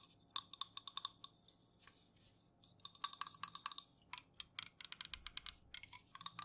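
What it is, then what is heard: Aluminum juice can. An unopened, full Jumex aluminum juice can is held in the hands and tilted while fingernails tap and scratch on its metal top rim and body. Quick, bright, short clicks come in bursts with brief pauses between them, with a tonal ping near 1.1 kHz and crisp high overtones. The tapping is mostly dry, with almost no low end and very little ring.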